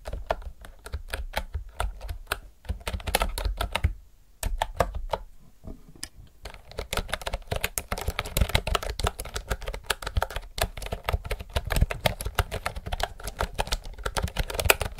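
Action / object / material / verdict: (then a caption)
tap / mechanical keyboard with round plastic keycaps / plastic / none. Fast typing with fingertips and nails on a retro, typewriter-style mechanical keyboard with round plastic keycaps. It produces a dense stream of short, crisp clicks with a low thump under each press. The typing pauses briefly around the four-second mark, then continues steadily.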